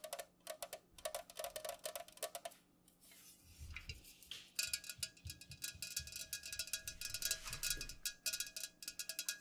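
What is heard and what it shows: Long nails tap quickly on the sides of an unopened Pepsi aluminum can, first held on its side and then set upright on a pink cloth. The taps are bright, short clicks with a tinny metallic ring in quick bursts, broken by a brief softer rustling stretch.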